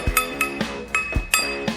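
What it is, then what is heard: Hardened steel chisel, rings. A slitting chisel forged from a car coil spring is tapped six times after quenching to check whether it hardened, each strike giving a bright metallic clink with a clear ring near 2.6 kHz. The steel rings, though a later file test shows it is not perfectly hardened but acceptable.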